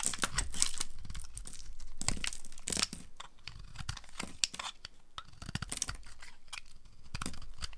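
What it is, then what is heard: Dry bar soap being carved. A palm-sized solid pink bar of dry soap, held in one hand, is shaved and carved with a small yellow-handled knife, and the chunks and flakes pile up on a grey surface. Quick, uneven bursts of crisp scraping and crunchy tearing follow one another, each bright and dry with almost no ring.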